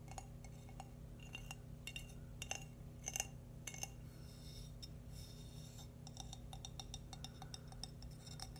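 A small, hollow, glazed, cream-coloured ceramic baby bootie is held up in one hand and tapped and traced with fingernails. It gives quiet, bright, glassy clicks and light scratching in an irregular rhythm, each tap dying away almost instantly. A steady low hum runs underneath.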